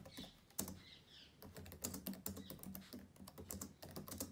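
Fingertips of both hands type fast on the plastic keys of a black laptop keyboard, making quick, dry clicking taps with short, sharp transients. A bright, warbling tone drifts faintly in the background early on, and the clicks stay quiet and close with almost no ring.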